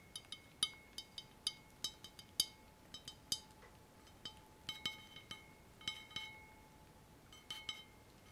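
A long, thin, hollow, empty clear glass laboratory tube (a condenser or adapter) with a frosted ground-glass joint at one end is held over bubble wrap, handled and tapped with fingertips and nails. About 21 short, bright, glassy clinks come at an irregular pace over a quiet background, each with a brief high ring and a faint steady tone underneath.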